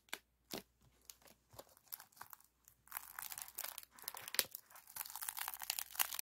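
Fingertips and nails scratch and squeeze a partly compressed, hollow silver aluminum foil flexible duct with a wire spiral and ribbed foil. Sparse, short, bright crinkles and scratches come first, then build after about three seconds into dense, continuous, high crackling and crumpling with almost no low end.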